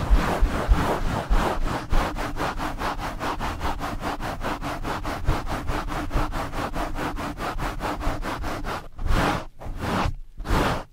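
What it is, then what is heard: Foam microphone windscreen rubbed with mesh gloves. Hands in purple and blue nylon mesh scrub gloves rub quickly along the sides of a black foam windscreen on a blue microphone. A fast, steady run of scratchy, rasping strokes with a heavy low rumble fills most of the clip. It then breaks into a few slower, separate swipes at the end.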